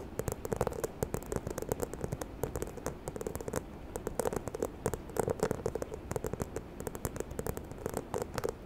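Long nails tap and scratch the textured surface of a small, hollow, white croc-embossed faux leather handbag. Quick, dry clicks come in uneven bursts over a soft, steady low rustle, with a faint hollow tone around 440 Hz.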